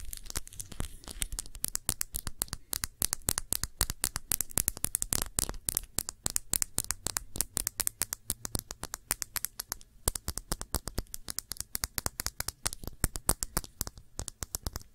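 A round glass perfume bottle with a blue cap, partly filled with blue liquid, is tapped and scratched with long nails. Rapid, sharp, clicky taps come in quick bursts with a very short ring, mixed with light scratching.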